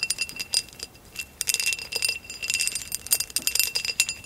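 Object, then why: Glass vase. Long acrylic nails tap and scratch a hollow amber glass vase with a woven relief pattern, lying on its side. Quick, bright clicks and scrapes pile up in dense clusters, each with a short glassy ring and almost no low end.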